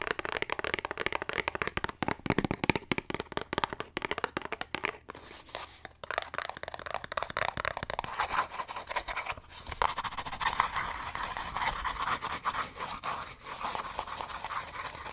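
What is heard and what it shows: A green Irish Spring cardboard soap box is held in the hands and scratched and tapped fast with fingernails. Quick, dry, papery taps come first, then give way to a steady, crisp scratching rasp. The sound is light and brittle, with little low end.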